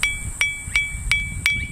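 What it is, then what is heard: Glass of water tapped with a wooden spoon. A glass of water is tapped five times with a wooden spoon, giving short, evenly spaced taps. Each tap brings out a clear ringing tone near 2.3 kHz that fades quickly, and the result is a smooth, soft, gentle sound.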